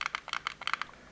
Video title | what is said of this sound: Hot Toys MMS202-D04 Diecast Robocop | you can sort of hear that plasticky hollow sound